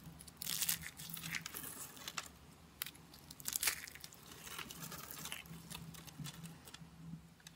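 Small rosettes of thin, dry, curled white soap, solid and brittle, are crushed between the fingertips and crumbled into flakes over a wooden surface. The result is a dense run of bright, crackly crunching and crinkling with short tearing bursts, loudest near the start and again around the middle, over a faint steady low hum.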